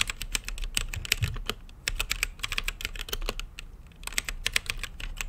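Fingertips type on a mechanical keyboard with plastic keycaps and a translucent lit case. A quick, steady stream of sharp, bright key clicks sounds over a low, constant hum, with brief dips between bursts of keystrokes.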